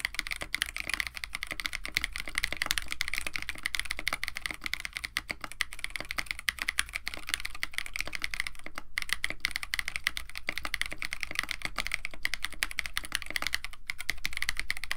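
A compact 65% mechanical keyboard with a white case, blue and white PBT plastic keycaps, an FR4 plate and stock switches is typed on continuously by both hands with the fingertips. A dense, steady stream of short, clicky keystrokes with a bright clack centred near 2 kHz runs over a low background rumble, with no pauses.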